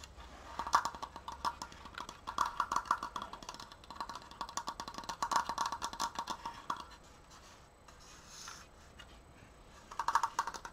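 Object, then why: Wooden slat frame. Fingertips and nails tap quickly on the slats and apex of a large, open triangular frame made of wooden slats. Rapid bursts of short, dry, hollow clicks ring near 1.2 kHz with a bright edge, easing into a quieter stretch before picking up again at the end.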